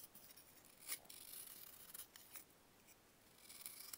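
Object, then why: Pressed baking soda block scraped with a metal knife. A metal knife carves layered slices off a small, solid pressed baking soda block held in bare fingers. It makes quiet, crisp, bright scraping and crunching with almost no low end, with a few sharper cuts standing out along the way.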